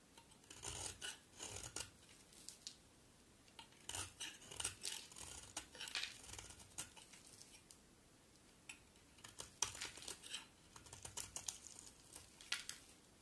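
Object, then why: Bar of soap cut with a metal blade. A solid white bar of soap held in one hand is shaved with the metal blade of a utility knife, and white soap curls pile up underneath. Bright, crisp scraping and carving strokes come in short, irregular bursts throughout, with little low-end weight.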